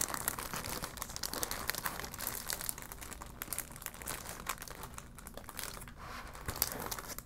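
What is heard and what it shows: A clear plastic retail bag holding a folded vinyl ball is crinkled and scratched with long black nails and fingertips. A steady, bright crackling rustle runs throughout, with dense sharp crinkles and scratchy ticks that come and go in intensity.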